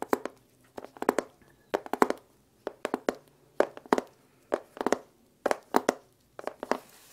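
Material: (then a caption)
Wood. A small, hollow, dark-red lacquered wooden case with brass clasps and printed lettering is held close to the microphone and handled, tapped and rubbed with gloved fingertips. The result is quick, dry, hollow knocks in irregular clusters with a mid-range body, separated by brief silences and soft rubbing.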